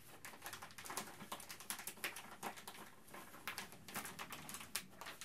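A thin, empty, clear plastic bag is held up in both hands and crinkled and rubbed between the fingertips. The result is a quiet, steady stream of dense, bright crackles and rustles with many sharp, short snaps and little low end.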